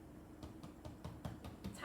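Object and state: Baked-through bread loaf (hollow).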